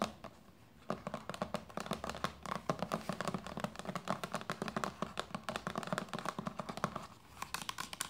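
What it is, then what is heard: Plastic lotion bottle tapped and scratched. Long painted nails tap and scratch quickly on a hollow, medium white plastic lotion bottle with a red cap lying on a knitted blanket. After a quiet first second, a dense run of short, dry clicks and scrapes follows, each dying away almost at once with a faint hollow body and bright crinkly edges.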